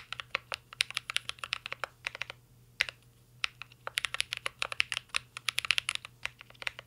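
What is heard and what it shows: A full-size mint-green Cyberboard R3 mechanical keyboard with a metal case, plastic keycaps and Holy Panda switches rests on a desk while two hands type steadily with their fingertips. Bright, crisp clacks come in fast bursts with short pauses between them. Each keystroke ends almost instantly over a faint low hum.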